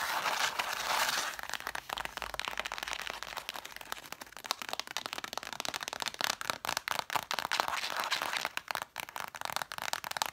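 Long black nails tap and scratch the cloth spines of a stack of red cloth-covered hardcover books. The sound opens with a steady, bright scratching, then turns into quick, dry, papery taps with short rasping strokes, with no low rumble.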